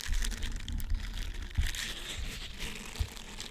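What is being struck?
Silicone scrubber sponge with bristles.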